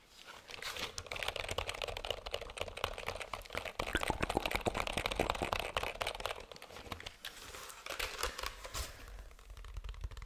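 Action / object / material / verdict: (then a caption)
tap / plastic computer keyboard / plastic / none. Fingertips tap a black plastic computer keyboard, first on its keys and then on its flat, hollow plastic underside. Rapid, dense clicky taps with a bright, papery texture run steadily, thin out briefly around the seven-second mark, then resume as lighter, hollower tapping.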